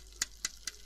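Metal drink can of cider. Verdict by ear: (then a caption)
Full. A full metal drink can of pear cider is tapped three times. Each tap is a short, bright, dry tick with almost no ring, spaced evenly over a soft steady hiss.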